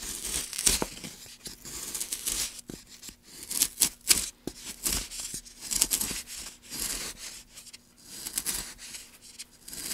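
A gouge, held in gloved hands, carves strokes along the channel of a solid light pine block. Repeated short, bright, scraping and tearing strokes shave the wood with a dry, quick decay, while a faint, steady low hum sits underneath.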